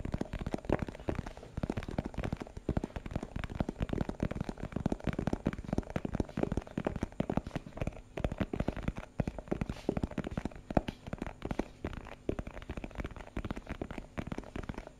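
A small hollow translucent plastic box with a purple printed label is held in the hand and tapped rapidly with the fingertips. The result is a steady stream of quick, dry, hollow clicks and soft thuds, weighted toward the low end, each dying away almost instantly.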